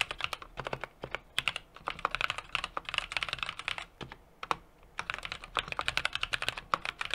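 A small 60% mechanical keyboard with an aluminum case, brass plate and plastic keycaps is typed on rapidly with the fingertips of both hands. Dozens of sharp, bright clicky key taps come in quick bursts, with a brief pause about two-thirds of the way through. Each tap is crisp and dies out almost instantly, with little low end.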